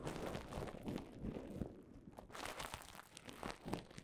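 Fingertips and nails tap and scratch across a mound of clear plastic bubble wrap, making it crinkle. Soft, dense crinkling and quick taps come with brief bright crackles, easing briefly around the two-second mark before picking up again. The sound stays quiet and close throughout.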